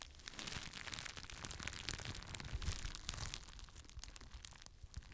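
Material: Plastic.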